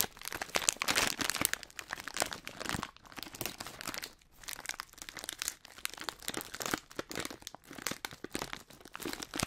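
A hand-sized, printed Hot Nuts plastic foil snack bag filled with nuts is crumpled and rubbed with the fingertips. It makes a dense, bright crinkling and crackling in quick bursts with short pauses between them. There is almost no low end, and the sharp crackles stop dead with no ring.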